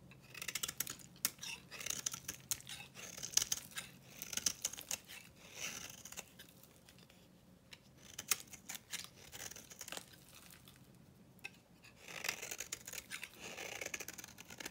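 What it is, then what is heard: Dry soap bar. A metal knife blade shaves a dry, solid orange bar of soap with a dark blue painted rim, held in hand. Bursts of bright, dry scraping and crackling come in quick, short strokes with little low end, separated by quieter pauses before the shaving resumes.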